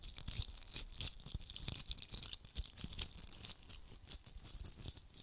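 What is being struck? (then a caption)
Glitter-coated Christmas ball. Fingertips scratch and rub across the rough surface of a red glitter-coated hollow Christmas ball held in both hands close to the mic. The result is a dense, continuous gritty scratching with a bright, hissy top and low thumps from the handling. Short crackly bursts keep coming throughout, with no clean pauses between them.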